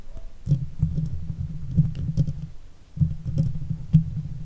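Long fake nails on both hands, wrapped around the hollow steel mesh grille of a silver Blue Yeti microphone, scratch across it. The sound is a deep, muffled rumbling scrape with soft thumping accents, nearly all low-end. It breaks off briefly near the three-second mark before resuming.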